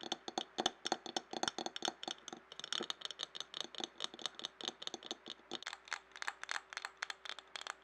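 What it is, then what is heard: Glass jar. A clear glass jar standing upside down and filled with paper scraps is tapped quickly with fingernails, then tilted. Dense, rapid clicky taps with a bright glassy edge and very short ring, alongside a faint paper rustle and a steady low hum underneath.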